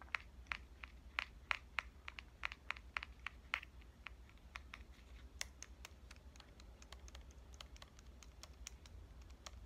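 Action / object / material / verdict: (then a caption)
tap / compact digital camera, metal and plastic body / metal and plastic / none. Fingernails tap the front and lens ring of a pink compact digital camera with a metal and plastic body. The result is a rapid, irregular series of short, dry, bright clicks that die away instantly, over a faint low steady hum.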